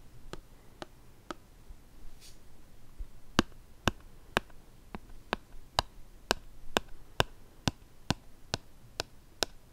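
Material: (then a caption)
Plastic. A hollow white plastic shower gel squeeze bottle with a blue cap and printed label is held in both hands and tapped with the fingertips. Seventeen short, dry taps come at a slow, steady pace: three at the start, a pause, then fourteen more evenly spaced. Each tap is crisp with no ring, over a faint background hiss.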